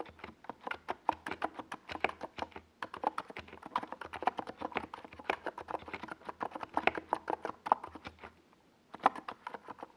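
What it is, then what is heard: Mechanical keyboard with tall plastic keycaps. A compact NiZ Plum Atom 68 mechanical keyboard, with a white plastic case and purple and yellow tall Domikey Gas Attack SA plastic keycaps, is typed on with the fingertips of both hands while it sits on a desk pad. A steady stream of about 55 short, clacky keystrokes sounds with a mid-pitched, hollow tone. The typing briefly pauses near 8.5 seconds, then resumes for a final burst.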